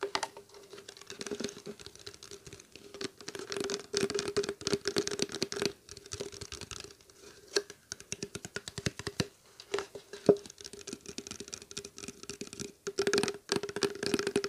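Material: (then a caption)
Plastic. A small clear plastic water bottle, cap off, hollow and nearly empty, is held in both hands and tapped with fingertips and nails. Quick, irregular bursts of light, dry taps and crinkly clicks come in clusters with short pauses. A faint steady tone near 400 Hz runs underneath.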